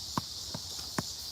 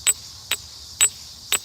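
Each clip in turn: First: shale rock, not a geode (dull sound). Second: quartz geode, tinny ring.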